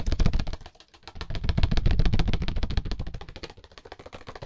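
A small, solid deck of red-backed paper playing cards is held in bare hands while fingertips and thumb quickly riffle and flick the card edges. The result is a rapid, fluttering stream of short, dry clicks with a heavy low thump. The stream pauses briefly near the first second, then surges again and gradually softens toward the end.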